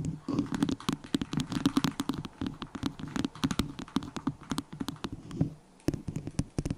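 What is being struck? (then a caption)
Small disposable plastic cup. A small, hollow, empty white disposable plastic cup held over the microphone is tapped on its base and sides with long nails. Rapid, dry, hollow clicks ring with a low, resonant tone, with a short pause near the end before the tapping resumes.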